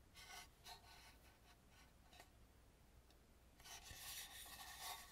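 Long nails scratch and rub along the rough, unpainted dark back edge of a hollow carved wooden mask. Dry, bright rasping strokes come in uneven bursts over a soft low hum, with a quieter stretch in the middle before a denser, louder run of scratching at the end.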